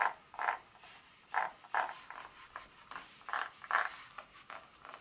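Long nail tips rub and scratch across the segments of a solid dark chocolate bar lying flat. The result is a series of short, dry scratchy bursts, centered around 1 kHz with a little high hiss. They come at an uneven pace, fade quickly, and have no low-end body.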